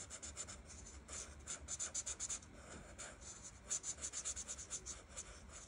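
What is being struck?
Felt-tip marker on paper.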